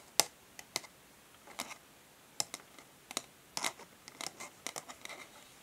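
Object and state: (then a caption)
Printed cardboard packaging sleeve. Long nails tap and scratch across a flat printed cardboard packaging sleeve lying on a table. The result is a series of sharp, dry, bright clicks and brief scratchy rasps, separated by quiet gaps, with almost no low end.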